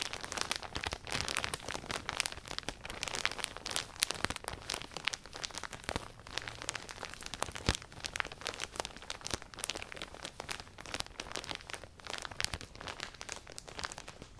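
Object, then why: Thin plastic poly bag holding folded clothing. A clear, thin plastic poly bag holding soft, full folded black clothing is held and squeezed in both hands with long painted nails. It gives a continuous, bright, dense crinkling with many quick crackling snaps and little low end.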